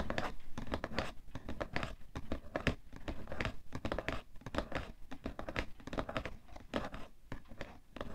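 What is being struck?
Cardboard tissue box.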